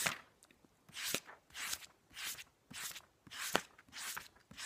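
Fingertips rapidly flip and riffle the cream paper pages of a large, thick hardcover book lying open on a blanket. A steady series of separate, bright paper swishes and flutters follows, each one a quick airy burst with short quiet gaps between.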